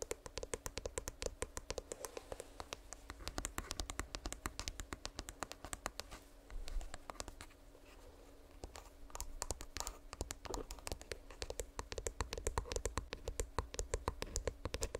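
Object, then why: Plastic earbuds charging case. A small, hollow, purple plastic earbuds charging case, held in one hand next to the microphone, is tapped and scratched with long nails. Rapid, sharp, dry clicks with almost no ring sit over a steady low hum. A softer stretch of scratching around the middle gives way to dense tapping again.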